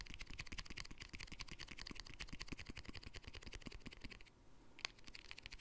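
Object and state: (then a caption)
Glass jar with plastic lid, tapped. A small round glass jar with a bright green plastic lid and white center, held in both hands, is tapped and scratched on the lid and rim by fingertips and short nails. The result is a fast, steady run of short, dry clicks with a bright edge and no ring. Near the end the taps thin out into a soft scratch, broken by one sharp tap before they resume.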